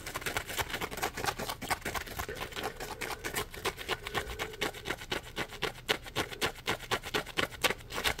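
Short nails and fingertips scratch and rub the ridged edge of a yellow Scrub Daddy polymer foam scrub sponge held upright. The result is a quick, uneven run of crisp, bright, dry scratching strokes, about four per second, with no ring after each stroke.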